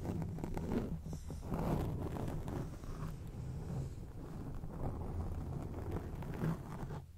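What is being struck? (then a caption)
Foam microphone windscreen. Long acrylic nails on both hands scratch a round grey foam windscreen on a microphone. The result is a steady, dense, muffled scratching that rumbles heavily in the low end. It swells and eases over its length, with almost no high content.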